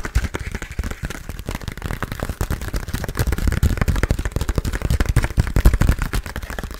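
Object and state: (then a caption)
Paper notepad. A small rectangular paper memo pad printed "Don't bug me" with leaf and bug designs, a solid stack of paper, is held in both hands and tapped and scratched with long blue-painted nails. The result is a rapid, continuous stream of dull, low thuds and soft scratchy taps, heavy in the bass with very little brightness, each hit dying away almost instantly.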